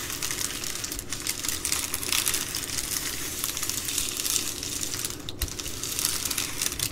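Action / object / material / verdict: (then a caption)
scrape / plastic bubble mailer envelope / plastic / none. Fingertips and long nails scratch and rub across a large white and blue plastic bubble mailer envelope lying flat on a wooden table, crinkling the bubbled plastic. The result is a steady, dense stream of bright crinkling and scratchy rustling, concentrated in the high range with only a faint low hum beneath.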